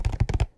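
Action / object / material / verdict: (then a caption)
tap / box holding brownies / unknown / hollow. Fingers tap on a hollow box of homemade brownies, producing a quick run of soft, low, hollow thunks. The dull taps die away almost at once, leaving near silence.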